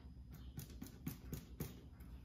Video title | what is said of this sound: Amy Roloff Baking Crusty ‘Artisan’ Bread with Molly | Tap it. Watch. I think it's done. It's a little hollow.